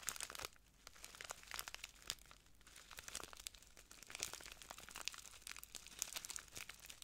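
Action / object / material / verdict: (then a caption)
shake / small plastic bag filled with granules / plastic / none. A small clear plastic bag full of translucent granules is crinkled and squeezed by the fingertips of both hands. Quiet, bright, dense crinkling and crackling with many short sharp snaps continues throughout, with brief softer pauses between bursts.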